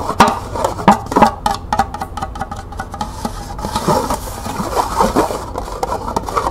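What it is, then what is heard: Plastic cup tapped with nails. Long nails tap quickly on the ridged side and base of a small, hollow, empty green plastic cup held sideways. The result is a fast run of hollow, clicky taps with a mid-pitched plastic ring that dies out almost at once, mixed with light scratchy rubbing.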